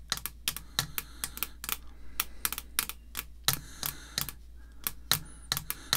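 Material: Plastic.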